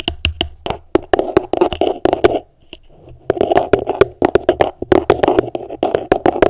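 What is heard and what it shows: Long nails tap rapidly on the flat bottom of an upside-down, empty, translucent plastic Tupperware food container. Sharp, bright clicks land over a hollow plastic resonance that dies away almost at once. Partway through, the taps pause briefly for a softer, quieter scratching before the rhythmic tapping resumes.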